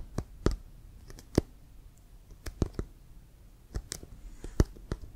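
Fingertips tap and scratch near the white laces of a brown leather American football, hollow and inflated and held horizontally. Thirteen short, dry taps stand out, each a low hollow thump with a quick click that dies almost at once. Faint scratching fills the quiet gaps between them.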